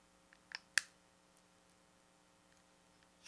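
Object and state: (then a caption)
Plastic pocket calculator. Fingertips and nails tap and scratch the body, edges and rubber keys of a small, hollow, grey-silver plastic pocket calculator with a flip lid, held close. Two sharp, dry clicks stand out, the second the loudest, with a bright ring around 1.75 kHz. They are framed by fainter ticks and a soft tap at the end over a quiet steady hum.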